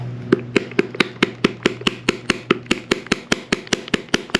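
A plastic bottle of red lettering enamel is shaken, and the marble-like mixing ball inside knocks back and forth as it mixes the paint. About twenty short, sharp clicks come in a steady rhythm, each dying away almost instantly.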